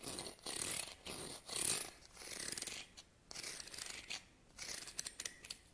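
Fingernails strum across the teeth of a medium, solid wide-tooth wooden comb held in the other hand. The result is a series of bright, raspy, rapidly ticking bursts with very little low end, separated by brief quiet pauses.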